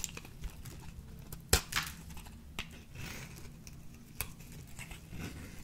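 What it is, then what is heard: Dry bar soap being shaved. A small metal blade shaves the cubed surface off a peach-orange bar of dry solid soap, and chunks break away as the bar thins. Sharp, dry crunches and crisp snaps stand out over a quiet scraping rustle, with the loudest crack coming early. Each break cuts off almost instantly with no ring.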